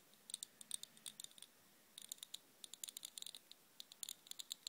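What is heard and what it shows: Fingertips and long nails strum and scratch the metal pin bristles, tipped with red balls, of a black plastic vented hairbrush held upright. Quick, bright, dry clicks and ticks come in uneven bursts with a short pause in the middle. The sound is quiet and crisp, with no ring and almost no low end.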